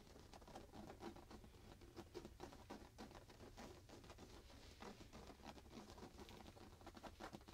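A soft printed fabric pillow is hugged to the chest while both hands rapidly scratch and patter on the fabric with fingertips and nails. The result is a quiet, dense, irregular stream of soft scratchy taps and rustles with brief brighter flicks, sitting over a steady low rumble.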